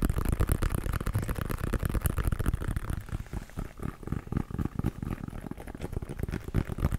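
A brown, pebbled leather American football, hollow and inflated, is held in the hands and tapped and scratched with fingertips and nails. Rapid, dry, hollow thumps with a low body blend with a rough scratching texture. The taps run continuously for about seven seconds, easing slightly in the middle before picking up again.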